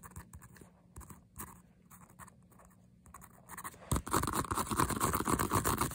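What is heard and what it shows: Fingernails rapidly scratch the smooth leatherette front of a hollow white-mint faux leather handbag printed with "Sweet Girl." Sparse, light scratches and taps come first, then at about four seconds the scratching turns into a dense, louder, continuous rasp.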